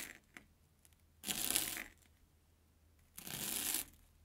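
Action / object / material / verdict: scrape / airy corn puff snack stick / puffed corn / none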